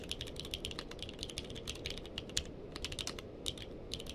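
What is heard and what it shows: Two-handed fingertip typing on a purple-cased mechanical keyboard with plastic keycaps produces a rapid, steady stream of short, bright clicks and clacks. Each keystroke snaps off almost instantly over a low, soft background rumble.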